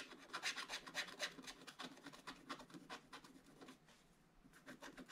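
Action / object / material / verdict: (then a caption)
scrape / coated scratch-art paper scraped with a wooden stylus / coated paper / none. A wooden stylus scratches fills into a black-coated scratch-art paper page lying in an open book. Quick, uneven strokes make a bright, dry rasping, louder at first and then softer and thinner toward the end.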